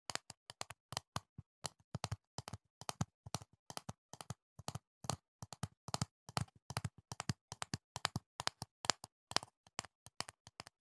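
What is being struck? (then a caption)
Plastic jar filled with foam earplugs. A medium, hollow, clear plastic jar full of green foam earplugs is held close to the mic and tapped with the fingertips. It gives a quick, uneven run of short, dry, clicky taps for about eleven seconds, each with a hollow low thump and a bright plastic tick that die away at once, with brief pauses between bursts.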